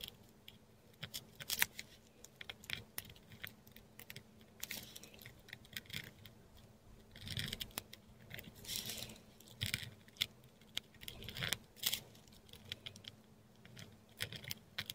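A metal dip pen nib scratches across a flat sheet of textured Korean paper, close up, while writing Thai letters in ink. Quiet, bright scratching strokes mix with short sharp ticks as the nib touches down and lifts off. Longer raspy strokes rise in level partway through.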